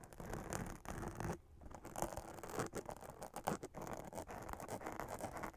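Long acrylic nails scratch over a hollow black fabric witch hat with a glitter spiderweb print. A dense, dry scratching and rustling runs nearly continuously, with a brief quieter lull about one and a half seconds in before the scratching resumes.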